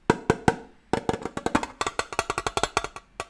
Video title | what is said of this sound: rien 🕳️ - ONE WORD INPUT #18 | c'est un son métallique c'est du métal